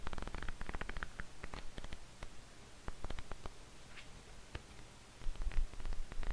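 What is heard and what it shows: A small paperback manga volume with thin paper pages is held in both hands above a desk while fingers and a thumb riffle and flick quickly through the pages. A rapid run of crisp, bright paper flicks and snaps sits over a low, steady rumble, quieter in the middle and picking up again toward the end.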